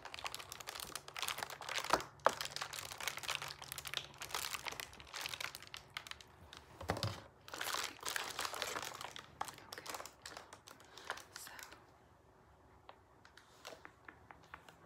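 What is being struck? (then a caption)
Pleated paper lantern. A hollow, pleated paper lantern with a purple moon print is squeezed and crinkled by fingertips and briefly swung or shaken. Dense, bright, crackly paper crinkling runs through most of the clip, with louder rustling bursts around two and seven to eight seconds. It thins to sparse, quiet ticks near the end.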